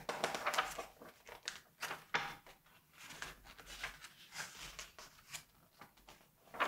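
Fingertips flip, turn and rub the glossy paper pages of a large 1986 Vogue magazine lying open on a white table. A series of quiet, crisp papery swishes and crinkles is heard, each brief and bright, with short rubbing sounds between the page turns.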